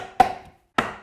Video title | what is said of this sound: Build a Classic Stepstool: Step-by-Step Woodworking Tutorial with Tommy Mac | you can hear it that is not going in